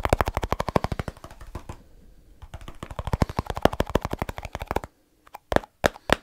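Fingertips rapidly tap the lid of a small, round plastic snus container with a lid, held in one hand. Quick runs of dry, hollow clicks with a midrange knock briefly soften, then pick up again before stopping. After a short silence, a few sharper isolated taps follow, each dying away almost instantly.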